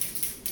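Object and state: Dry shampoo aerosol can with rattling mixing ball.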